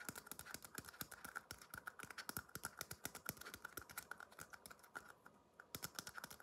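Fingertips tap the sides and base of a small, empty red paper cup held upside down, giving a quick, steady run of light, dry clicks. Each tap is short with almost no ring, carrying a bright papery edge. There is a brief pause near the end before the tapping picks up again.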